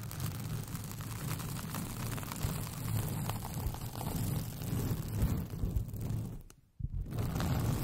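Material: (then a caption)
Paper. Long painted fingernails scratch a white paper sheet with pink polka dots that is rolled into a hollow, empty tube over the microphone. The result is a steady, dense, low hollow rumble of scratching that dips briefly into near silence just before the seventh second, then resumes.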